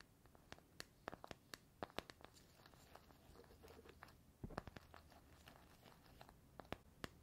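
Fingernails scratch and tap the paper-labelled metal side of a small cylindrical metal tea tin with a gold lid, held in one hand. Quiet, scratchy rustling is punctuated by many sharp, bright clicks that die away almost instantly.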